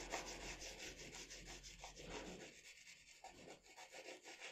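A pencil rubs and shades strokes across the face of a drawing on a sheet of drawing paper resting on a table. Quick, uneven back-and-forth scratching strokes repeat about three times a second, with a soft, bright, papery hiss.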